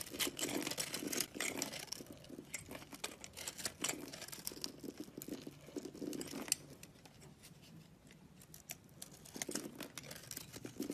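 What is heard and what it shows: A utility knife blade with a green handle scrapes and shaves the sparkly pink crystal core of a palm-sized, solid, round soap ball with an orange shell, held in one hand. Dense, bright, crisp scratching and crackling shavings run in quick strokes, with a quieter stretch around 7 to 9 seconds before the scraping picks up again.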